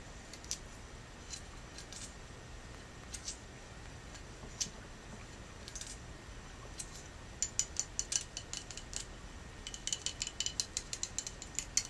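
Natural fingernails tap on a soapstone Buddha incense burner, a cool, hard carved surface. The result is a quiet series of short, bright clicks with almost no ring, scattered at first and then coming faster and denser toward the end over a steady hiss.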